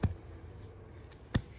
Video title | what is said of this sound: How To Bury Wires | you hear a little thumping noise that's the pipe and you know that you're getting it down really well